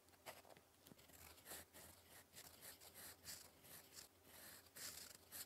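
A gold metal fountain pen nib, held in the fingers, scratches across a flat, solid sheet of lined cream writing paper on a desk while writing English cursive. Soft, bright, scratchy strokes come in short overlapping bursts over a faint steady low hum.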